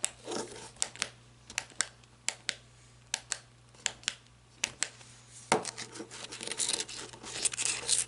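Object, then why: Flashlight body, plastic or coated metal. Long nails tap and scratch the body of a black matte flashlight, plastic or coated metal, with a ribbed grip and head. Sharp, bright clicking taps with very short decay come first, then give way after about five and a half seconds to denser, continuous scratchy rasping. A faint steady low hum runs underneath.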